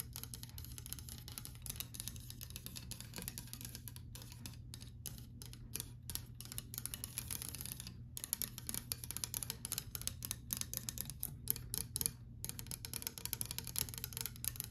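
A white painted louvered closet door with thin slats is tapped and scratched along the slats with long white acrylic nails. Quick, sharp clicks and scrapes patter on in an uneven stream over a steady low hum.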